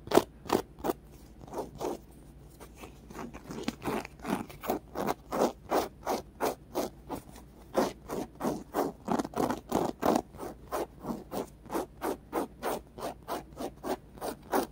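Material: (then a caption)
Polyurethane foam. Fingernails scratch a small, solid, white polyurethane foam squishy block with rainbow-colored stripes on its sides. About 40 short, dry scratching strokes come at a quick, slightly uneven pace, each a brief bright rasp with no ring after it. Some strokes are softer and closer together early on, and they grow more even and steady toward the end.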